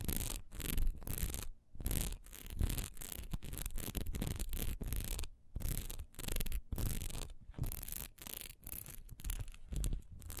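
Long nails scratch quickly across a single solid wax pillar candle with a raised texture, first held sideways and then set upright. Rapid, bright, rasping strokes come in bursts separated by short pauses, over a low rumbling undertone.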